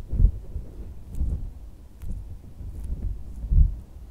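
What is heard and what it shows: A pink, hand-length squishy toy shaped like a wrinkly dog, made of soft silicone or rubber, lies on white seersucker fabric and is tapped and pressed with fingertips and red-painted medium nails. Five soft, deep, muffled thumps stand out with almost no ring, and faint bright clicks from the nails sound between them.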